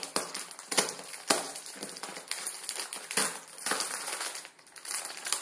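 A plastic film ramen noodle packet resting on a wooden table is pinched and crinkled with the fingertips. The result is bright, dry crinkling and crackling in irregular bursts, with sharp short-lived peaks over a steady rustle and almost no low end.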